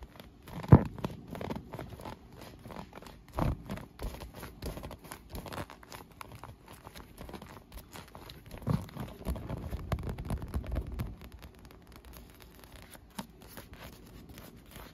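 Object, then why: Inflated PVC vinyl pool float. Long nails scratch and tap across a hollow, air-filled, leaf-print inflated PVC vinyl pool float with holes. The result is a dense stream of soft, low, muffled taps and crinkly scratches with almost no ring. There is a sharp tap near the start, busier stretches in the middle, and quieter scratching toward the end.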